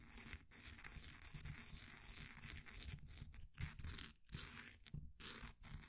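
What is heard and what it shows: A flat wooden popsicle stick scratches and scrapes the crumbly surface of a solid, green, ball-sized bath bomb of compressed powder held in a blue plastic ring holder. The result is a steady, gritty rasping with a low rumbling body and a bright hiss, broken by a few brief pauses.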